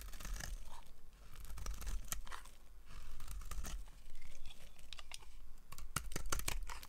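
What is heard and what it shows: A hand-sized, solid cream-coloured Camay bar of dry soap is held in one hand and carved with a yellow utility-knife blade, shaving off curls. Dry, crisp scraping and crunching strokes come in short bursts with sharp, bright edges over a steady low rumble. The cuts stop quickly, with almost no ring.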